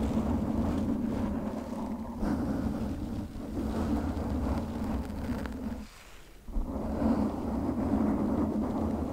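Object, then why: Foam microphone windscreen. Long nails scratch and grip a pink foam windscreen on a condenser microphone. The result is a dense, rumbling, crackly rustle that stays low and muffled. It drops away briefly near the six-second mark and then resumes.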